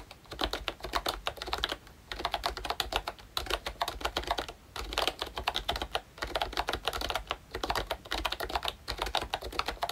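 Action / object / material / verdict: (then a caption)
tap / plastic membrane keyboard / plastic / none. Fingertips type on a pink plastic ROYCHE Disney Mickey Mouse retro membrane keyboard with round keycaps and a hollow body. Rapid, soft, clicky keystrokes come in bursts separated by brief pauses, with a bright plasticky tap and very short ring on each press.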